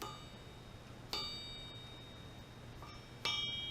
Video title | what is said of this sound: Mopar Small Block Crankshaft Balancing - Pilot Hole Machining. | can you hear the ring that's how you can tell forge crank nice ring